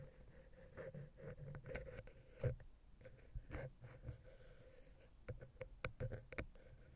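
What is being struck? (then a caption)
Metal microphone capsule housing. A wooden ear pick held vertically scratches and taps the small, hollow silver metal XY capsule housing on a Zoom H6. The result is quiet, scattered scraping strokes and short, dull knocks with a boomy low-end thump and brief bright clicks. A faint steady mid-pitched hum runs underneath throughout.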